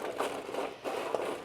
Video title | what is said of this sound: let's develop the perfect breakfast! - FALL STRATA with crusty bread, cheese, bacon, apples, & more | can hear how crispy it was